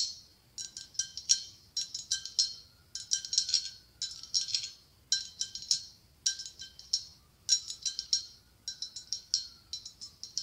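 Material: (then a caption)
Glass. Long acrylic nails tap and scratch a medium, hollow, ribbed white blown glass pumpkin with a gold stem. The result is bursts of quick, bright, clicky taps with almost no ring, separated by brief pauses. The sound is thin and high, with no low end.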